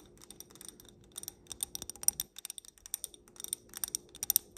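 Long black nails tap and scratch around the rim and bowl of a small stemmed wine glass filled with pink glitter, making around two dozen quick, bright, dry clicks with faint scratchy hiss between them. The taps are quiet and almost entirely high-pitched, with almost no low end, and each dies away instantly.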